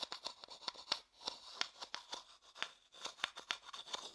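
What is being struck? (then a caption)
Light wooden bowl tapped and scratched with a thin stick. A thin wooden stick scratches and taps the inside of a medium, hollow, empty, light wooden bowl held on its side next to the microphone. A quiet, rapid run of bright, dry clicks and short scrapes is heard, each dying out almost at once with no low end.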